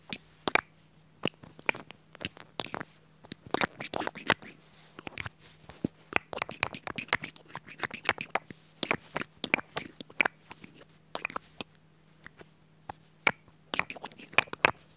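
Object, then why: Glass perfume bottle with metal cap. Long pink nails tap and scratch the body and metal cap of a dark glass perfume bottle held near the microphone. Dozens of short, sharp, bright clicks come in irregular bursts, mixed with softer scratching, over a faint steady low hum.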